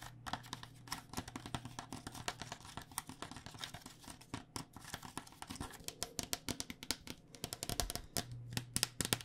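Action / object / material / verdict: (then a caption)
tap / plastic cycling helmet shell over foam / plastic / none. A white plastic cycling helmet, a hollow plastic shell over foam held sideways, is tapped on its shell and vents with long dark nails. The result is a rapid, uneven run of short, dry, bright clicks and taps with very little ring, over a faint low hum.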